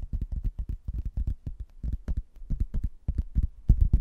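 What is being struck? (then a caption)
Laminated hardboard placemat. A rigid laminated hardboard placemat, a solid thin board with a printed manor-house photo and a blue textured border, is held in both hands and tapped and scratched with fingernails. A rapid, uneven run of dull, deep, short knocks follows, with little brightness and almost no ring.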